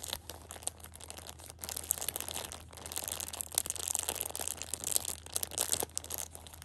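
Long red-painted nails and fingertips press and scratch a Shopkins 6-pack of small, soft pocket tissue packs wrapped in clear plastic film, each pack also in crinkly printed plastic. Dense, bright crinkling and crackling runs throughout, in rapid irregular bursts with short quieter gaps, over a faint steady low hum.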